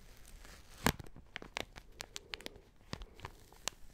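Fingernails scratch and crinkle the plastic wrapper of a small, soft, full travel pack of tissues held in the hand. About a dozen sharp, bright crackles and ticks stand out over a low, rustling scratch, with the loudest snap near the start. The sound stays quiet and close, with each crinkle dying away almost instantly.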